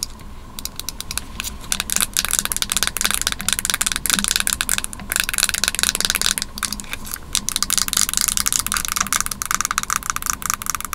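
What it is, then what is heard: Plastic and aluminium computer mouse tapped and scratched with nails. A small white Apple Magic Mouse with a glossy plastic top and aluminum base is held in both hands while long nails tap and scratch its shell and underside. The result is a dense run of quick, bright clicks and scrapes with a steady high hiss and a faint low hum beneath.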